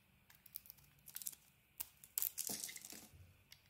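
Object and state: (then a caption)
Bar soap being carved. A small metal blade shaves and carves a hand-sized rectangular bar of soap with a yellow-green patterned coating and a cream interior. Quiet, crisp, bright scraping crackles come in short, irregular bursts, with a louder, denser stretch of shaving near the middle of the clip.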